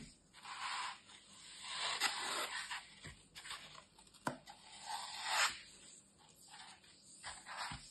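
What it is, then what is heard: Green floral foam block being scraped. A metal utility knife scrapes and carves the top edge of a large, solid, dry green floral foam brick held by hand. Long, bright, hissy scraping strokes swell and fade, broken by a few sharp crisp ticks as the blade bites into the foam.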